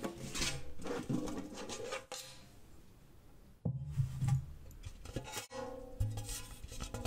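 A round, red printed metal Annas gingersnap biscuit tin, medium-sized, hollow and empty, is held up open with its lid off. Fingertips and nails tap fast on its metal surface. The result is a quick, irregular clatter of metallic taps with a hollow low body, a few brighter clicks, and short rings that die away quickly.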